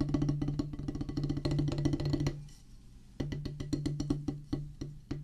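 Wooden drumsticks drum a solid oval practice pad with a black rubber top on a pressboard/wood base, making quick, dry, knocking taps with a low, woody body. A fast run of strokes lasts about two seconds and fades into a brief lull. Then sharper, more spaced strikes resume to the end.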